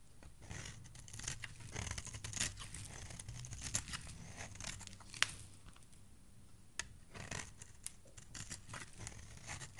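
A solid yellow oval soap bar held in the hand is scraped and shaved with a utility knife blade into thin yellow strands. A steady run of crisp, bright scraping and shaving strokes plays over a low, soft rumble, with a few sharper clicks standing out. The blade's rasp is quiet and close.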